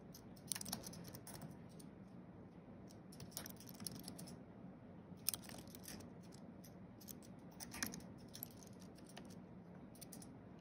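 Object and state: Computer keyboard being typed on.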